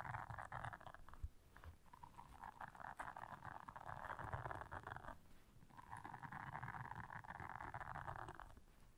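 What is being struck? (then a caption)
Silicone bristle scrubber pad. Long nails scratch and press the bristles of a blue silicone bristle scrubber pad. The result is a steady, dense scratchy rasp concentrated in the midrange, with a soft low rumble underneath. It pauses briefly around 1 and 5 seconds before resuming and fading slightly at the end.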